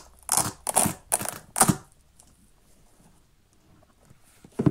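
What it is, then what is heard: Children's sneaker with velcro straps. Fingertips and nails handle the velcro straps of a small, hollow, empty children's printed synthetic sneaker with a rubber sole, peeling and pressing the velcro and scratching the upper. Four quick, bright ripping tears come in close succession, followed by a quiet stretch of faint scratching, then a fifth tear at the end.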